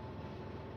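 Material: Nothing is struck.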